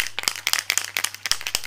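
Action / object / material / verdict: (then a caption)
shake / aerosol spray can with metal mixing ball / metal / none. An aerosol can of neutral (white) chocolate velvet spray is shaken, and the small mixing ball inside rattles with a rapid series of sharp, bright clacks. The can is shaken for a long time so the contents mix well and spray evenly.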